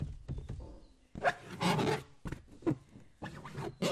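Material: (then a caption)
Latex. A green latex balloon filled with liquid is rubbed and patted with a flat palm and fingertips. Soft, squishy rubbing alternates with dull slapping pats, giving bursts of bright, broadband swishing over low, muffled thuds. Short quiet gaps fall between the bursts.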